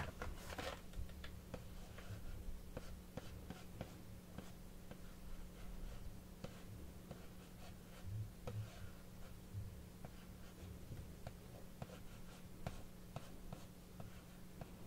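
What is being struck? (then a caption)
Plastic blister and cardboard card box. Fingertips and short nails scratch and rub across the clear plastic blister front of a sealed, medium Pokemon Shining Fates pin collection box with a printed cardboard backing and card packs inside, while the other hand holds it upright. Soft, quiet scratching and crinkly rubbing is broken by sharp, brief plastic ticks and clicks. A steady low hum runs underneath throughout.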